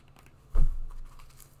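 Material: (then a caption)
Rubber. Long nails tap and scratch an empty black and green sport sandal with a rubber sole and strap webbing. A single deep, dull thump lands about halfway through, then fades into a soft, low scraping rustle.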